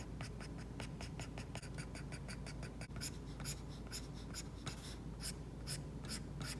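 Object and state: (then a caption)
Stylus on matte-protected tablet screen. A plastic stylus tip makes quick, repeated hatching strokes across an iPad's glass screen covered with a matte plastic screen protector while painting hair. Each stroke gives a soft, bright scratch and rub in a rapid, even rhythm, over a steady low hum.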